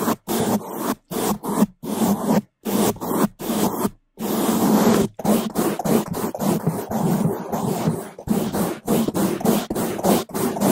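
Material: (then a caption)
Foam. Two bamboo toothbrushes held in gloved hands scrub the sides and top of a black foam microphone windscreen. The result is fast, loud, rough scratching strokes in quick bursts separated by brief silences, with one longer continuous scrub near the middle. The sound is dense and muffled with a low, thick body.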